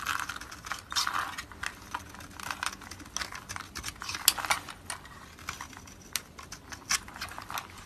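A utility knife blade scrapes and cuts the domed surface of a solid oval white round soap bar held in hand, piling white flakes onto a blue surface. A quick series of short, crisp, bright scraping and shaving strokes is heard, each dry with almost no ring and very little low end.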